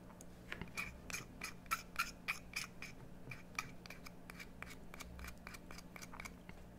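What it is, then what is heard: Bar of soap being carved. A metal carving tool scrapes a solid green bar of soap carved into a bone-like shape, making a rapid, slightly uneven series of short, crisp scrapes at about three to four per second. Each stroke is bright and papery with a faint tonal edge around 1.3 kHz and 2.4 kHz, dying away almost at once, over a quiet, steady low hum.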